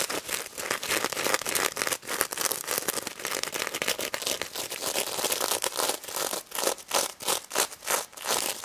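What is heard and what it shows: Long red nails scratch the plastic sequins and mesh snout of a pink stuffed plush pig toy, with some tapping. Dense, bright, crinkly scratching rasps repeat in quick bursts, settling into a more evenly spaced back-and-forth rhythm toward the end.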